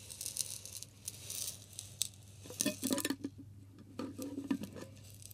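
A clear glass bottle with a green label, partly filled with pink salt, is tilted and shaken by hand. The loose salt grains rattle and hiss against the glass in bright, gritty bursts, with a few sharper clinks standing out amid the quieter shifting between them.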